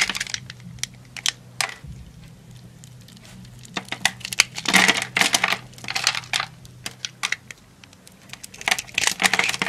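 A yellow utility knife blade cuts small cubes loose from a solid brown household soap bar scored into a grid, and the cubes drop away. The result is a run of crisp, bright crunching and crackling snaps in irregular bursts, with a faint steady low hum underneath.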